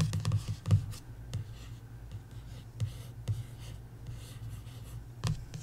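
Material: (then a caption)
Coated paper. Long nails trace and tap across the glossy paperback back cover of a coloring book. Soft, dry scratching runs under scattered light taps with crisp, bright clicks, all over a steady low hum. The taps die away almost instantly.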